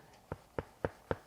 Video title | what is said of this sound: On Cloudboom Strike Review | it's actually quite solid. There's not much give in it, and there's not any padding there either.